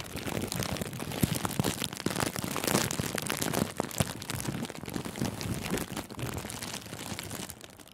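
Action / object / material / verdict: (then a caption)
scrape / thin clear plastic cellophane wrap / plastic film / none. Thin, clear, crinkly cellophane gift wrap bunched around a furry microphone windscreen is scrunched by fingers. It makes a dense, continuous crackling and crinkling with sharp, bright snaps over a low, muffled rumble. The sound stays busy for the full eight seconds and fades slightly at the end.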